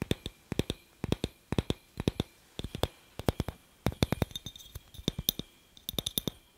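A hollow, handheld clear glass incandescent light bulb with a metal screw base is tapped and scratched with fingertips and nails close to the microphone. Quick, dry clicking taps come in small clusters, each with a faint high glassy ping that dies away almost at once.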